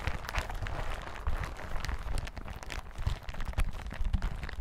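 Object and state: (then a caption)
Plastic hazmat suit. A yellow plastic hazmat suit lies flat on a table while the fingertips of both hands tap and scratch across it. The result is a dense, continuous patter of soft, dull thumps with a steady, bright crinkling rustle layered over them.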